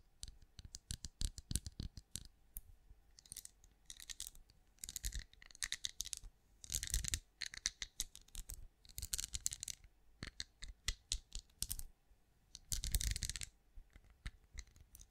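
Long acrylic nails tap and click across a hand-sized, cream, pinecone-shaped wax candle that appears solid. Quick, dry clicks with almost no ring come in rapid runs, broken by denser bursts of bright, scratchy rattling as the nails skitter over the ridged scales.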